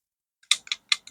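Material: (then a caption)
Plastic. A plastic Glow Hub balm compact in the shade Milkshake, whose packaging feels cheap, rattles as an unknown loose part moves inside it, possibly in the closed mirror compartment. Four short, bright clicks, each decaying quickly, with almost nothing in the low end.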